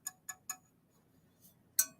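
A wood-look decorative piece with a glaze-like finish is tapped five times, giving short, bright, high-pitched metallic clinks. Three quick taps are followed by a pause, then two louder ones. The sound shows the piece is metal, not wood or ceramic.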